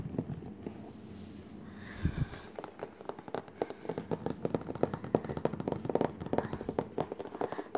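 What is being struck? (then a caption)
Cardboard art case lid. Fingertips tap quickly on the glossy printed cardboard lid of a flat, hollow Crayola art case lying closed on the floor. After a quieter opening, a rapid, irregular run of short, dry, hollow taps follows, each dying away almost at once with no ring.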